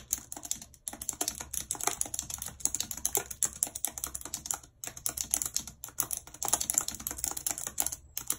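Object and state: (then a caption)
Plastic computer keyboard. A full-size white and silver plastic computer keyboard with a numeric keypad, lying on a map, is typed on continuously and fast with very long red acrylic nails and fingertips. The hollow keys give bright, dense clicks and taps with almost no low end, broken by a few brief pauses.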